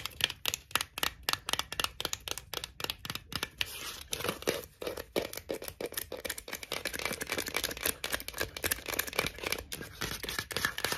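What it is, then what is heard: Cardboard tube with plastic lid. Long acrylic nails tap and scratch the printed plastic snap lid of a tall Texas BBQ Pringles can, a cardboard composite tube, then scratch along the side of the tube. The first few seconds are quick, crisp, bright clicks, which give way to a denser, continuous scratchy rasp for the rest of the clip.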